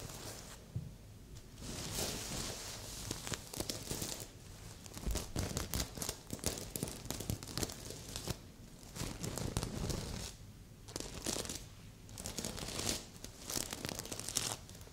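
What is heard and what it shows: A medium, soft stuffed heart-shaped pillow covered in reversible plastic sequins is scratched with long polished nails. The result is bright, crinkling scratches and rustles that come in bursts, with brief quieter pauses between them.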